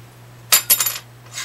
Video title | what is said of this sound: make YOUR guitar play easier! gibson hummingbird | You can tell it's tusk. Hear that glassy sound? If I had a bone one here, I'd show you the difference.